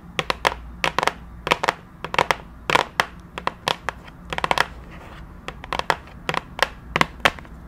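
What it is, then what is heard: Cardboard box tapped with nails. Long nails tap and scratch across the surface of a flat, rectangular printed cardboard retail box for a keyboard, held in both hands close to the microphone. Quick, dry clicks and short scrapes come in irregular bursts, each with a bright papery crackle that dies away almost instantly over a faint low hum.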